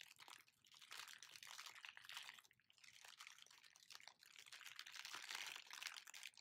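An empty, large clear plastic packaging bag with black and white print is crumpled and crinkled in both hands. It makes a dense, continuous, bright crackling that swells and dips in waves, with no low end.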